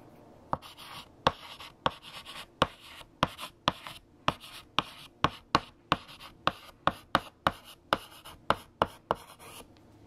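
A hand writes with light green chalk on a large, flat black chalkboard, and the chalk scratches and taps against the surface. About 19 sharp taps stand out, each followed by a short, bright, gritty scrape and a quick decay, over a quiet background.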